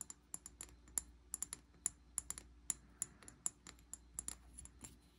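Fingernails tap the body of a medium amber glass bottle with a green cap and sticky label residue, held in the hand. About twenty quick, irregular taps give bright, clicky ticks that stop almost instantly. A quiet, steady low hum sits underneath.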